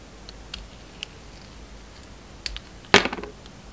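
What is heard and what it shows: A metal utility knife blade scrapes and carves a rectangular, solid Alviero soap bar with a dark red coating and a red and white inside. A few faint, scattered scraping ticks come first, then a louder, crisp, bright cut near the end followed by a quick run of short crackles against a quiet background.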